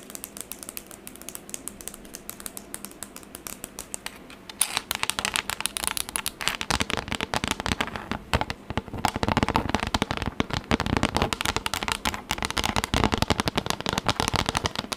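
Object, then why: Textured plastic tablet case tapped with nails. Long acrylic nails tap fast and irregularly on a flat, rigid pink textured plastic tablet case, making dense, bright, dry clicks. The tapping is lighter for the first few seconds, then turns louder and more rapid, with a steady crackling patter until the end.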